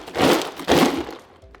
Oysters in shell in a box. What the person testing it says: Those all sound solid. If anything is hollow, it's going to sound like a castanet or a clunker.